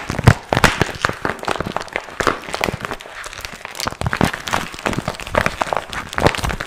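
A small, empty, glossy pink patent vinyl pouch with a zipper is held in both hands while fingertips crumple and rub it. The result is a dense, continuous crinkling broken by sharp, quick crackles and snaps that spread from low thuds to bright highs.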